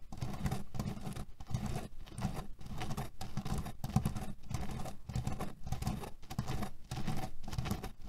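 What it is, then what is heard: Cherry-pit-filled cotton pillow. Fingernails scratch and tap fast on a cotton pillow filled with cherry pits, making a dense, low, rattling patter. The sound comes in short bursts separated by brief pauses, keeping a steady, muffled crunch of shifting pits throughout.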